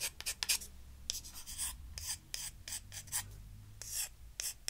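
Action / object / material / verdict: scrape / thin disposable wooden spoons / wood / none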